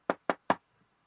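Three short, dry knocks on a solid desk that someone is sitting at, each a quick dull thud that dies away almost instantly, with the last knock slightly louder. The knocks show the desk is real and physical.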